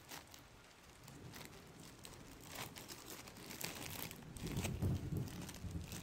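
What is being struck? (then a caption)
Thin plastic bag. A thin, transparent, empty plastic bag is held up close and crumpled and rubbed between fingers. Soft, continuous crinkling with bright, crackly bursts builds gradually and grows louder and denser toward the end.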